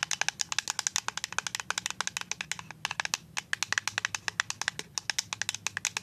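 A full white plastic liquid soap pump bottle is tapped with paper-clip-covered nails, making a rapid run of about 51 bright, dry clicks. Each tap is sharp and dies away almost at once, with little low-end body.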